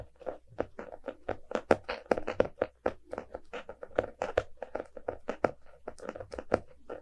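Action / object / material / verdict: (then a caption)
tap / hardcover book with cardboard cover / cardboard / none. A small, solid closed hardcover book, "A Little Bit of Dreams", with a glossy printed cardboard cover is held in both hands and tapped and scratched with fingertips and nails. A quick, uneven stream of short, dry, mid-pitched taps mixes with soft scratching, and each tap dies at once without ringing.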